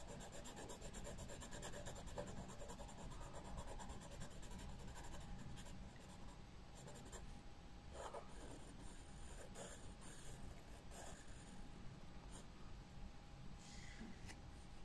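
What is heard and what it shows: A pencil tip is stroked and scratched repeatedly across the page of an open white paper sketchbook resting on a wooden table while drawing a flower stem. The result is a steady, quiet, grainy scratching and rubbing with a low, dull body, softening slightly midway, with occasional brief brighter scrapes standing out.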